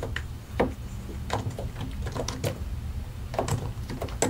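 Both hands type continuously with their fingertips on a solid white and grey plastic mechanical keyboard, pressing and tapping the keycaps over the switches. Short, dry clicks and clacks follow one another in an uneven stream over a steady low hum. The result is a quick, dull tapping with little ring after each keystroke.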